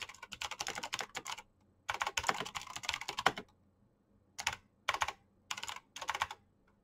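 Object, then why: Plastic mechanical keyboard. Fingertips with painted nails type fast on a black plastic mechanical keyboard with clicky switches. Quick bursts of bright, crisp clicks come in rapid runs separated by short silent pauses.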